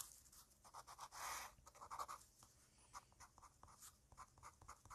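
A fine-liner pen tip taps dots and scratches lines onto a flat white paper drawing sheet resting on a hard surface, with a small clip-on microphone lying on the sheet. It makes a quick, uneven series of dry ticks and short, bright scratches, with one longer scratching stroke near the start. Each sound dies away almost instantly, leaving little low end.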